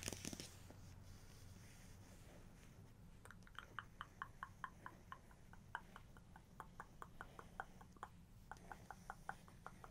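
Long nails tap and scratch across a printed paper page of an open photo book spread with several prints. Quick, dry ticks land one after another with a crisp, bright edge and almost no ring, over a faint scratchy rustle and a steady low hum.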